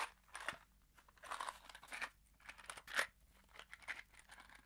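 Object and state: Cardboard box with screws.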